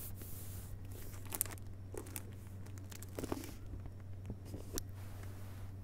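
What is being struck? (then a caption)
Hardcover book with paper dust jacket. Fingertips tap lightly on and along the paper dust jacket of a closed hardcover book lying front cover up on carpet. Soft, quick, muted taps and faint papery crinkles come through over a steady low hum. A few taps stand out slightly brighter.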